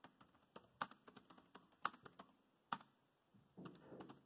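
Fingertips of both hands type on a dark grey plastic laptop keyboard, producing about fifteen short, dry key taps in an uneven rhythm. Three taps land noticeably louder and sharper than the rest. The clip ends with a softer, denser patter of keystrokes.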